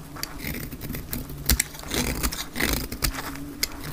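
A solid dark green bar of hard, dry soap is held in the hand and shaved with a metal utility blade. Quick, crisp scraping and crackling cuts sound one after another, with bright, sharp bursts over a low, steady rumble underneath.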